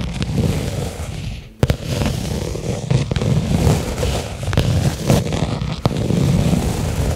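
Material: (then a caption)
Leather. A small, flat black pebbled-leather case lying on carpet is tapped with the fingertips and long nails of both hands. A steady, low, muffled drumming continues throughout, broken by a few sharper, brighter nail clicks that die away almost instantly.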